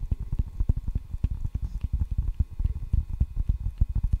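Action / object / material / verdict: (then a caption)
tap / table tennis paddle, rubber over wood / rubber, wood / none. A solid table tennis paddle with a red rubber face over a wooden blade is tapped and scratched on the rubber face with fingertips and nails. The result is a rapid, uneven run of short, dull, low thuds with very little high-frequency content.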